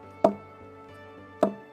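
A stone knocks twice on the trunk of a Phoenix palm, each hit giving a short, hollow, woody tok around 660 Hz that dies away quickly. The hollow ring shows the trunk is hollow inside, a hollow that expands as the palm grows.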